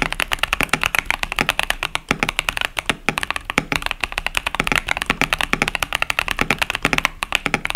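Fingertips of both hands type steadily on a compact KBD67 Lite mechanical keyboard with a plastic case and plastic keycaps over Boba U4T tactile switches. The result is a rapid, continuous run of short, dry, bright clacks with very little low end, each keystroke dying away almost instantly.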